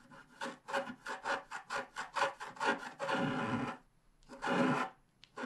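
A wooden stylus scratches grass strokes along the bottom edge of a flat, wax-coated scratch-art paper card. It makes a quick series of short, dry rasping strokes, then two longer, sustained scratches with brief pauses between them.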